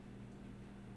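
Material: Nothing is struck.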